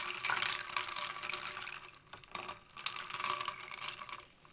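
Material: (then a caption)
Ice. A thin clear rod taps and pokes many small solid ice cubes packed in a shallow tray under purple UV light, stirring the water that partly covers them. Bright clicks and clinks mix with sloshing, trickling water, in bursts separated by brief quieter moments.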